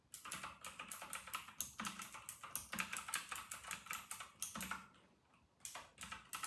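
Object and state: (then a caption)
Plastic mechanical keyboard. Fingertips of both hands type fast on a full-size white RK960 mechanical keyboard with round retro plastic keycaps. A rapid stream of short, bright, clacky keystrokes with little low end pauses briefly near the end, then resumes.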